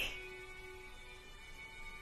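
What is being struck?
Nothing is struck.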